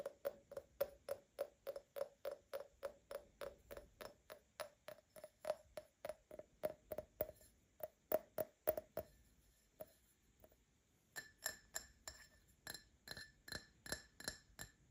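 An empty Paladone Mario Kart printed glass tumbler is tapped with short nails on its side and base, producing 43 quick, short clicks at a steady pace. For the first nine seconds, each tap gives a brief ring with a mid pitch near 625 Hz. After a near-silent pause with a few faint taps, the clicks return with a thinner, brighter tone.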